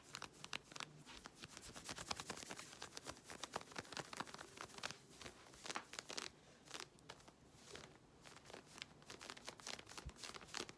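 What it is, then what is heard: Stretch fabric leggings being scratched. Long red nails scratch quickly and aggressively at the waistband of worn grey synthetic stretch-fabric leggings. The result is a dense, continuous stream of bright, crinkly scratching bursts with little low end, each stroke short and dry with almost no ring.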